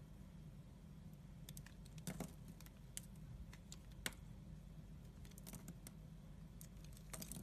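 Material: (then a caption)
Soap. A solid soap bar patterned in black and white, held in the hand, has thin pieces sliced off by a yellow utility-knife blade. Quiet, crisp scraping and short bright clicks come through over a steady low hum, with a few sharper snaps as pieces come free.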